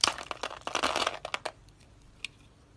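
A solid, hand-sized pink and orange dry soap bar, pre-scored in a grid, is held in one hand while a utility knife blade scrapes and crunches off small cubes. A dense burst of dry, bright crackling crunches fills the first second and a half, then it falls quiet apart from a few faint ticks and one sharp, short click near the end.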